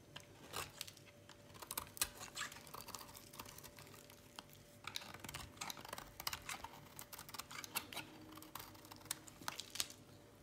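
A solid red bar of dry soap is shaved with a utility knife blade, and the flakes fall onto a pile. A rapid series of short, dry, bright scraping and cutting clicks is heard, with a faint steady hum underneath. The shavings build up as the blade keeps cutting.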